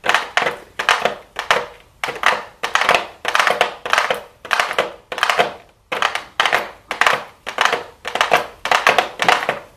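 A pink "MAKE STUDIO" cardboard makeup palette box with a clear plastic front, possibly shrink-wrapped, is held in the hands and tapped and scratched with super long blue acrylic nails. Quick bursts of crisp, bright clicking taps and light scratching repeat in an uneven rhythm. Each burst is dry and short, with almost no low end.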